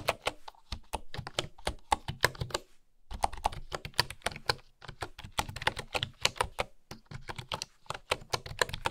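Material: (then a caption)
Bamboo. Fingertips with long nails type on a bamboo keyboard with bamboo keycaps, producing a rapid stream of short, dry clicks with a bright, hollow tap and a light low thump beneath. The typing runs steadily, with brief pauses near the start and around the three-second mark, and each click dies away almost instantly.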